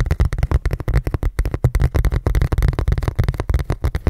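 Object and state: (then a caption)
Plastic food container lid. Fingertips and nails tap and scratch a large, thin, hollow red ridged plastic food container lid held up close. About 22 quick, dull taps follow one another in an irregular run. Each is a short, low, hollow thump that dies away almost at once.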